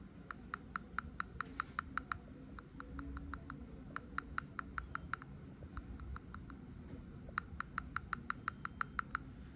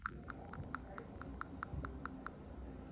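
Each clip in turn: First: abnormal-sounding tooth on percussion. Second: normal tooth on percussion.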